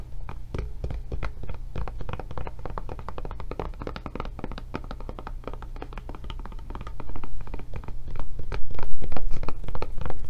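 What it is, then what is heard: Silicone rubber tablet case. Long nails tap rapidly across the back and handle area of a blue silicone rubber tablet case held sideways, making a dense stream of soft, dull, thunky taps that die away quickly. A steady low hum runs underneath, and the tapping grows louder over the last few seconds.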